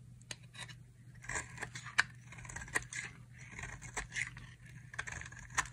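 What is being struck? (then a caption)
Bar of soap cut with a knife. A utility knife cuts thin curls and strips from the edge of a solid pink dry soap bar held in one hand. Crisp, bright scraping strokes alternate with sharp snapping clicks, over a faint steady low hum.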